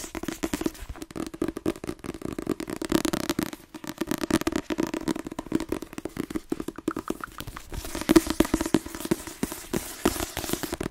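A medium paperback book with a cream and red cover and a solid block of paper pages is held in the hands and tapped quickly with fingertips and nails. The result is a steady stream of rapid, dry, crackly taps that stop almost at once, with a soft papery body centred around 320 Hz and a few brighter clicks from the nails.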